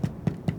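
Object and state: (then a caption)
Hollow-sounding baked baguette. Three knocks on the bottom of a baked baguette give short, low, hollow thuds centred around 150 Hz that die away almost instantly. The hollow sound shows air inside and an open crumb, the sign of a good bread.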